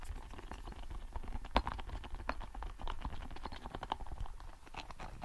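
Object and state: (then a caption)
Soft rubber spiky ball. A small red soft rubber spiky ball is squeezed, rolled and scratched with fingers close beside the mic. Quick soft ticks, taps and scratchy crackles come in an uneven stream over a low, muffled rumble, with one sharper tap standing out partway through.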